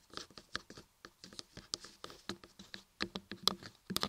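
Long nails and fingertips tap and scratch the carved ears and top edges of a solid laundry soap block carved with ears. The result is a quiet, rapid patter of short, dry, bright clicks and scratches that die away almost instantly.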